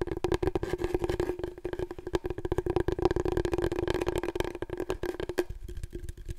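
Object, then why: Long cardboard tube. Long nails tap quickly on a large, long, hollow, empty brown cardboard paper roll core held horizontally. The dense stream of dry, rapid taps carries a steady hollow tone that rings from the tube. The tone fades near the end, leaving only the dull clicks.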